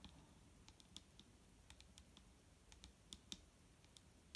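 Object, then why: Plastic liquid bottle. Long nails of both hands tap a large, clear plastic micellar water bottle with a green cap, full of liquid and lying on a wooden table. The result is a quiet, irregular string of quick, sharp, bright clicks that die away almost instantly, over a faint low background rumble.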